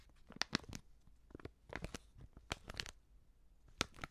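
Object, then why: Plastic seasoning pouch. Fingers crinkle and bend a medium white, filled plastic Prix Garantie seasoning bag. Short, sharp crackles come in irregular bursts with bright, high crinkling and quiet pauses between them.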